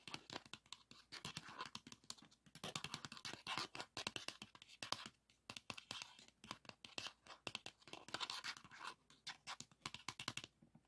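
Fingernails scratch and tap the label and shutter of a pink 3.5-inch plastic floppy disk held in one hand. Quick, bright, dry scratching strokes and light taps come in rapid bursts with brief pauses, each sound dying away almost instantly.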